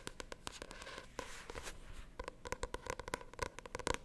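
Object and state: Paperback book.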